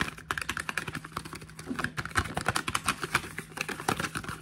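Fingertips and short nails tap quickly on the flat faces and edges of a small, hollow, printed cardboard face cream box held in the hands. The result is a rapid, uneven run of around thirty short, dry clicks with bright, crisp tops and almost no ring.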